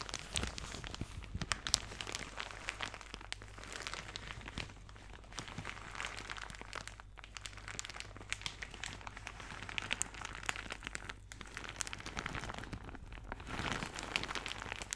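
A thin, soft, empty white plastic shower cap with blue polka dots is scrunched and crinkled between both hands with fingertips and nails. The result is a dense, continuous run of bright, crisp crackles and rustles at a quiet level, over a faint, steady low hum.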